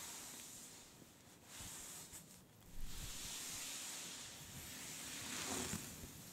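Long red fingernails scratch and rub across a soft cream-beige fabric scarf with a faint brown print, lying flat and slightly bunched. The result is a continuous bright, hissing friction rustle that swells and fades, growing louder around the middle and again near the end, over a faint low rumble.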